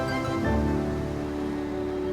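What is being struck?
Nothing is struck.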